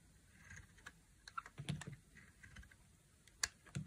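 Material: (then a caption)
Soap. A utility knife blade carves a dry, solid, palm-sized tan bar of soap into long curls. Quiet, scattered crisp ticks and short scrapes, some bright and some with a soft low thump, come and go unevenly as the blade shaves the soap.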